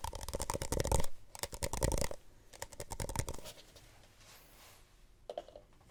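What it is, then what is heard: Plastic cup being tapped. A plastic Solo cup is tapped softly with quick clusters of dull, low taps carrying a faint crisp edge. The bursts are loudest early on, then thin out into quieter taps, with one last small tap near the end.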